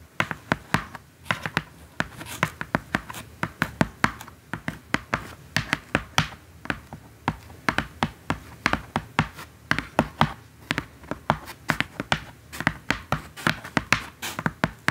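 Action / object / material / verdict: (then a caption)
tap / corrugated cardboard box / cardboard / none. Long acrylic nails tap and scratch across the top of a large, flat, hollow brown corrugated cardboard box lying on fabric. The result is a rapid, uneven stream of about 60 short, dry taps with hollow low thumps and bright clicky edges, mixed with soft scratchy rustles between them.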